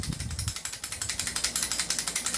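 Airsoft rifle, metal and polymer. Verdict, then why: Loose. A non-upgraded airsoft rifle of metal and polymer is shaken by hand, giving a fast, steady series of bright, clicky rattles with some low thumps at the start. The loose rattling marks it as poorly made and likely to have a short life.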